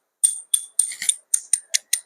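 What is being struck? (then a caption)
Aluminium alloy welding rods. Low-temperature aluminium alloy welding rods, made of aluminium powder with flux, copper and tin powder, are knocked together. They give a quick series of bright, sharp metallic clicks with a high ringing tone and very short decay, showing their metallic sound.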